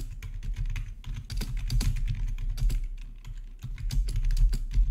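Fingertips type on the black plastic keys of a backlit RGB membrane keyboard with a hollow body, producing quick, irregular taps with short, bright clicks. A steady low hum sits underneath the tapping throughout.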